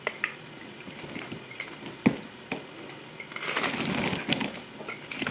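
A solid white bar of soap, held in one hand, is carved with a yellow utility knife blade, shaving dry flakes off over a table at double speed. Brittle, crackling scrapes come with sharp little snaps, swelling into a dense, bright crunch toward the end.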